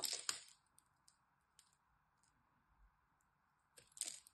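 A blade cuts and scrapes across the scored surface of a solid green dry soap bar, breaking off small cubes that crumble away. Bright, crisp crunching bursts open and close the clip, with faint light ticks and a soft steady hum in between.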